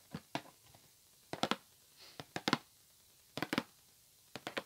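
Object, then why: Cardboard box. A white printed cardboard headphone box, hollow and held in the hands, is tapped and scratched with fingertips and nails. Short, dry, crisp taps come in small clusters of two or three, with a soft brushing scratch in between, quiet pauses, and no ringing after each hit.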